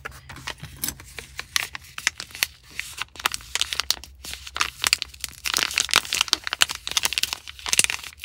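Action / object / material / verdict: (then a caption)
shake / small plastic foil sachet of powdered drink mix / plastic foil / none. Fingers with long nails squeeze, crinkle and shake a small Liquid I.V. drink mix stick packet in plastic foil, held in the hand and appearing full of powder. A dense run of sharp, bright crinkling and crackling bursts comes through, with almost no low end and faint tearing-like rustles between the louder snaps.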